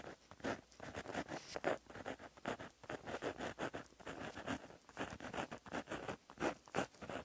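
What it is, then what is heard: Pen writing on a paper notebook page. A plastic-barrel gel pen with a metal tip, held in the fingers, writes across a flat black lined paper notebook page lying as a solid sheet on a surface, scratching the tip along the paper. Quiet, dry, scratchy strokes come in an irregular rhythm with brief pauses between them, each a short rasp with no ring.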